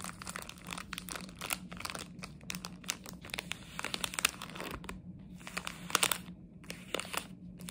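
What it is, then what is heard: Plastic sweet wrapper being crinkled. A small plastic chocolate frog wrapper, held in both hands, is scratched and crinkled with long nails. Dense, bright crinkling and crackling come in many quick, sharp bursts, with a steady low hum underneath.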